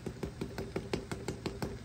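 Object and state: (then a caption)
Crunchy baked pepper patties. Homemade vegan pepper patties are tapped while baking, giving about nine short, crisp taps in a steady rhythm, each dying away quickly. The dry, hollow clicks show the patties are turning out good and crunchy.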